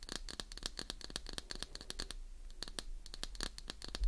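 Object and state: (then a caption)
Glycerin soap bar scratched with nails. Long nails scratch along the edges and face of a solid, palm-sized translucent green glycerin soap bar. The result is a fast run of dry, crisp scratches and taps with bright, sharp edges over a low hum. A short thump ends the clip.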